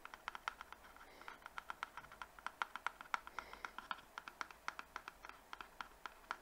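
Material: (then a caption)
Cardboard. Fingertips and nails tap and scratch quickly across the faces and edges of a small rectangular box printed pink with green leaves, likely hollow cardboard. A rapid, uneven series of short, dry clicks rings hollowly around 1.4 kHz with bright edges. Each hit stops almost instantly, over a faint, steady scratching.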